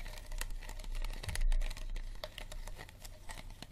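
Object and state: Empty plastic water bottle, hollow.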